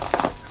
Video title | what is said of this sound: Итальянский хлеб Чиабатта / Italian bread Ciabatta | Слышите, как хрустит корочка?